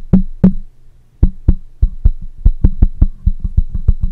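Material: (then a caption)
Metal. Fingertips of one hand tap rapidly on the side of a black microphone with a metal mesh grille. Sixteen short, dull, low thumps are heard, first spaced apart and then coming quicker, each with a faint tone around 190 Hz and almost no ring after.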